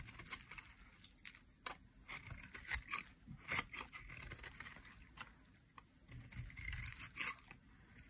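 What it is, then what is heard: Dry soap bar carved with a blade. A metal utility blade carves curls off the edge of a solid, dry pink soap bar. The sound is a quiet series of short, dry scraping and crisp shaving strokes, bright and crackly, with little low end and almost no ring after each cut.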